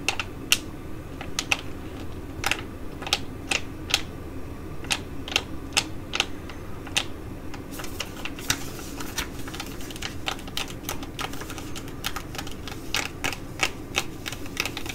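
A filled green foil-laminate Korean sheet mask pouch is crinkled in both hands, then scratched and tapped with long nails. Sharp, bright clicks and taps ring out over a steady crinkling hiss and a low background hum, growing denser in the second half.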